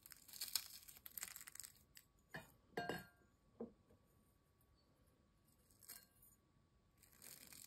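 Thin, dry, crisp potato chip pieces are crumbled between fingertips, then the pile is pressed by hand inside a glass bowl. Dense, bright crackling gives way to separate short crunches with quiet pauses between them, and a fresh burst of crackling closes the clip.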